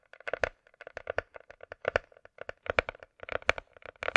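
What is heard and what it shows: A closed, hollow hard-shell glasses case with a glossy coated shell, held on its edge, is tapped with long nails. About 16 quick, bright clicking taps come in irregular bursts, each dying away almost at once with hardly any low end.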